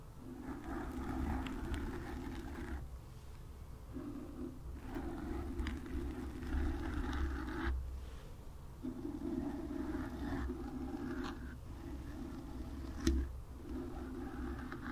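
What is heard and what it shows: Long nails scratch and tap with both hands on a black foam windscreen over a microphone, producing a steady, muffled rubbing with deep low rumble and a mid-range scratchy band that comes in bursts. Brief pauses break up the scraping, and a sharp tap stands out near the end.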